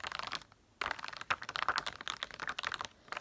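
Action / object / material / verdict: tap / plastic dome sticker sheet / plastic / none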